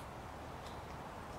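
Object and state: Nothing is struck.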